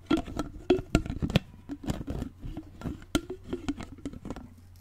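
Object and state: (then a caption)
Plastic water bottle. Fingers tap and handle the lid and sides of a clear plastic water bottle with a straw, held upright in front of the mic. A quick, irregular run of short, dry taps and soft handling clicks sits over a steady low hum.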